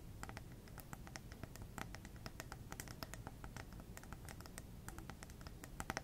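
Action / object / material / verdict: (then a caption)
tap / glass plasma ball globe / glass / none. Long red nails tap and scratch the hollow glass globe of a small lit plasma ball on a black base. Quick, sharp, bright clicks and brief scraping come in a steady irregular patter over a low, constant hum, and each tap dies away almost instantly.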